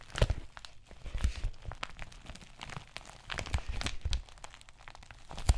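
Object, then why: Plastic bubble mailer envelope. Fingertips and nails scratch and crinkle the plastic surface of an empty white padded bubble mailer envelope. Dry crackling and rustling bursts come in quick, uneven clusters, with a few louder crinkles and soft low thumps from handling. The bright crinkles stop almost instantly, with no ring.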